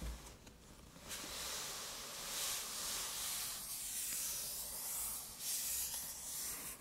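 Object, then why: Aluminum laptop lid. Long metallic nails tap and scratch across a closed silver aluminum MacBook lid with the Apple logo. A steady, bright, hiss-like scratching dominates, swelling in waves with very little low end.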